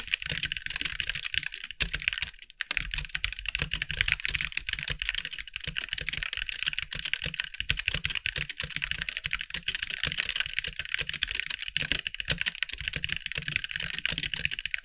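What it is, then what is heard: Plastic mechanical keyboard. Fingertips of both hands type steadily on a compact backlit mechanical keyboard with white plastic keycaps. The result is a dense stream of short, bright plastic clicks with a faint low thump beneath them. There is one brief pause near the 2.5-second mark before typing resumes at a constant pace.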